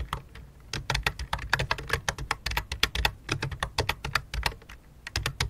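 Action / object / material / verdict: tap / plastic computer keyboard / plastic / none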